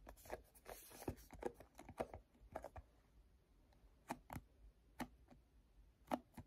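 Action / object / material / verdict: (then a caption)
scrape / plastic cosmetic squeeze tube / plastic / none. Fingertips grip, slide and rub along a hand-sized, hollow, cream plastic lotion squeeze tube. The result is a quiet series of short, crisp squeaks, taps and scratchy rubs with occasional brighter swishes, each dying away almost at once.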